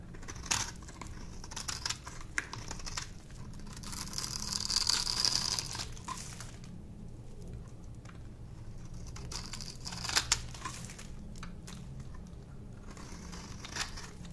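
A solid, dry pink soap bar held in the fingers is scraped with a small metal cutting tool, producing crunchy shavings. Dry, bright crackling and scratchy crunches come in uneven bursts, with a louder, denser scrape in the middle and sharp clicks near the end.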